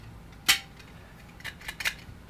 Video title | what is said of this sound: PATINA wallet, metal beauty, but functional? | Sounds like metal.